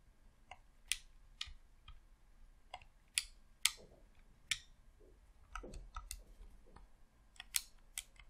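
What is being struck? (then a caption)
Plastic game controller. Fingertips click the thumbsticks and buttons of a hollow red plastic Xbox controller, making about eleven sharp, bright clicks spaced irregularly across the clip. Each click is dry and dies away almost instantly, with a few softer, duller taps and rubbing sounds in between.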